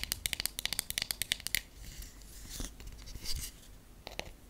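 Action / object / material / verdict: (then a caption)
tap / wooden hairbrush back / wood / none. Long nails tap the flat back of a solid wooden paddle hairbrush in a quick run of sharp, bright clicks with almost no ring. The tapping gives way to a softer, scratchy rustling, then a few more crisp taps close the clip.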